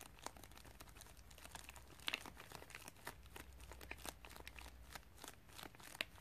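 Fingertips with long nails press, tap and scratch a flat white padded plastic mailer with bubble lining, hollow with a small parcel inside, lying on carpet. Soft, continuous bright crinkling and rustling fills the clip, broken by sharper little clicks and taps. It sounds quiet and close.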